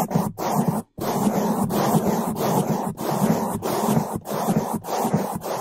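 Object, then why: Foam microphone windscreen brushed with bristles. Two bamboo toothbrushes in gloved hands brush across the top of a black foam microphone windscreen, making fast, loud bristle scraping on the foam. The strokes form a dense, muffled rush weighted toward the low and middle range, with little high brightness, and each pass is separated by a brief drop or pause.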